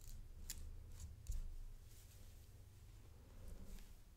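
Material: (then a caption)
Metal. A thin stick taps and scrapes along the links of a gold metal paperclip chain necklace with a coin pendant. About three light, bright metallic clicks and a soft scraping sound rise above a steady low rumble.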